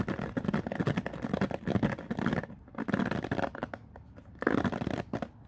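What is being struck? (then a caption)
Plastic paddle hairbrush bristles. Fingertips sweep and scratch through the many white-tipped plastic bristles of a black plastic oval paddle hairbrush lying on a wooden floor. Dense, rapid scratchy rustling comes in bursts, with brief quieter lulls between strokes. The sound is mostly low and mid, crackling, with little bright content.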